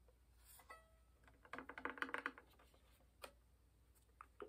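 Dark-painted fingernails sparsely tap the varnished top of a hollow wooden violin. The sound is quiet, short and hollow, with a woody, pitched resonance. A dense cluster of taps in the middle of the clip is followed by a few isolated, brighter clicks.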